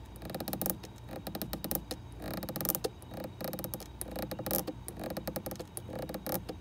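Long red acrylic nails tap rapidly on the top and sides of a white plastic screw cap on a white plastic bottle standing in a fridge door shelf. The result is a dense run of dry, clicky taps with a slight creaky, scratchy texture, each tap dying away almost instantly.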